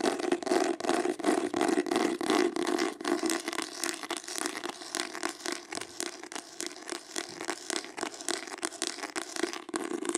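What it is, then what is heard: Embossed hardcover book. Long acrylic nails rapidly tap and scratch the embossed cover of a green hardcover book that is held up. The result is a dense, fast run of sharp, bright clicks and scraping over a steady low-mid hum, with short, dry taps that barely ring.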